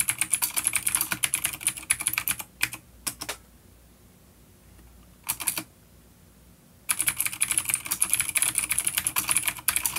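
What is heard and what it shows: Fingertips from both hands rapidly tap keys on a full-size black plastic vintage mechanical keyboard with grey keycaps, vintage clicky blue switches and a coiled cable, rated an A-grade unit, resting on a wooden desk. Bright, sharp clicks pour out in dense bursts, with a few isolated taps and a quiet pause in the middle before the fast typing resumes.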